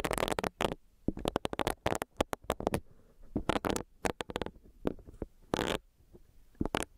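Long nails tap the body of a small, solid, pink bunny-shaped silicone facial brush, and its bristles are pressed and rubbed against a microphone. The result is quick bursts of crackly, squelchy tapping and rubbing that run bright and broadband, separated by short quiet gaps.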